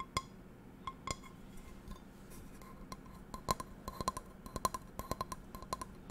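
A small, empty black non-stick metal frying pan is held by its handle while long nails tap and scratch its textured metal base close to the mic. Many quick, irregular, bright clinking taps ring near 1 kHz over a soft scratching hiss.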